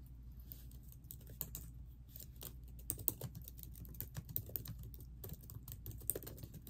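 Long painted acrylic nails and fingertips, with metal rings on the fingers, type rapidly on a plastic-keyed laptop keyboard set in a hollow silver laptop body. The result is a steady stream of quick, dry clicks and taps with a bright, high edge over a low, constant hum. Each keystroke ends almost immediately.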